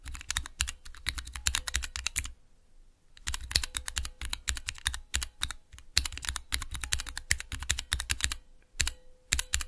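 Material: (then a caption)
Plastic. Fingertips with long nails rapidly press and tap the clear plastic keycaps of a small 3x3 Cherry MX switch tester with a clear plastic base, resting on dark velvet. Quick, bright plastic clacks come in dense bursts, with a brief quiet pause near the two-second mark before the tapping resumes. Each click is sharp and dies away almost instantly.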